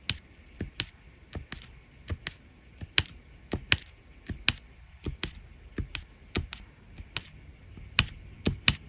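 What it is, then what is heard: Resin drills tapped onto diamond painting canvas. A drill pen places red resin rhinestone drills in rows on a printed adhesive diamond painting canvas, pressing each one down with a light tap. The result is a steady series of short, dry, bright clicks with almost no ring, spaced at an even pace over a quiet background.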